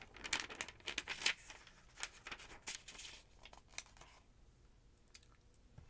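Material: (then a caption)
Paper. Long-nailed fingertips turn the thin yellow pages of a thick paper phonebook lying open. Crisp, bright rustling and crinkling bursts come in quick, uneven succession, loudest early on. They thin out to faint, sparse paper ticks toward the end.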